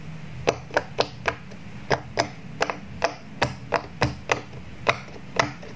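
Fingertips press the hollow bubble domes of a square rainbow silicone pop-it toy resting on a table, popping them one by one. About fifteen short, crisp pops are heard at an uneven pace, each a dry, mid-pitched snap with a bright click on top. Each pop dies away almost at once over a faint low background hum.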